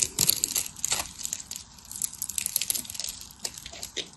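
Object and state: Dry bar soap being cut into flakes.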